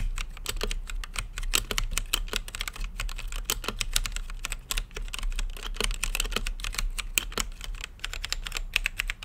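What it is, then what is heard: Plastic mechanical keyboard. Fingertips type steadily on an RGB-lit mechanical keyboard with plastic keycaps and a clear acrylic case. The rapid, uneven run of short, sharp, bright taps clacks near 2.5 kHz over a steady low hum, and each keystroke cuts off almost instantly.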